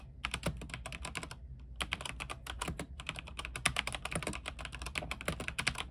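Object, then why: Mechanical keyboard with plastic keycaps. A compact mechanical keyboard with white plastic keycaps, RGB backlight and a silver case, sitting on a desk, is typed on with the fingertips of both hands. Many quick key presses make a steady stream of bright, crisp clacks that stop almost instantly, with only brief pauses, over a faint low hum.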